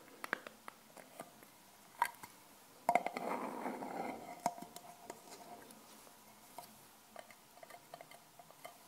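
Long painted fingernails tap and scratch the textured lid of a small, round, hollow silver metal tin whose contents are unseen. Quiet, irregular clicks with a faint metallic ring around 700 Hz are broken by a longer rasping scratch in the middle. Soft scattered taps follow.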